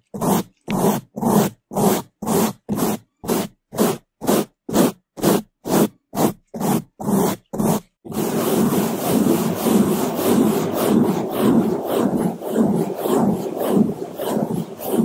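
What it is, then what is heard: Foam microphone windscreen being brushed. Two bamboo toothbrushes held in gloved hands scrub both sides and the top of a black foam microphone windscreen, making muffled, low-pitched brushing strokes. For the first eight seconds there are sixteen separate strokes at a steady two per second, and then the scrubbing becomes fast and continuous, a dense, rumbling rub with no gaps.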